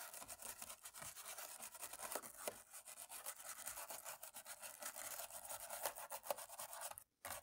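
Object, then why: Plastic laptop keyboard rubbed with a cotton swab. A cotton swab on a stick rubs and scrapes between the keys of a black plastic laptop keyboard. The result is a steady, quiet, bright scratching hiss dotted with small ticks and clicks, with almost no low end. It cuts briefly to silence just after the seventh second before the rubbing resumes.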